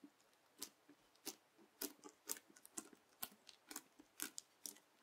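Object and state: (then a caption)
Bubbly clear slime being cut. A yellow plastic knife presses, cuts and rolls up a flat strip of clear, translucent teal slime full of small bubbles, held by fingertips on a white table. About fifteen quiet, bright, crackly pops and sticky clicks come at an irregular pace, each short with almost no ring. Fainter squishes sit between them.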